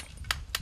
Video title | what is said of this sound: “장갑 살 돈조차 없어요” 하루하루 살기 위해 뜨거운 불길 속 처절하게 싸우는 ‘라오스 숯 공장‘의 모습ㅣ4000원 벌려고 맨손으로 뜨거운 숯을 만지는 여자ㅣ극한직업ㅣ#골라듄다큐 | 탁한 소리가 나는 것은 좋지 않은 숯.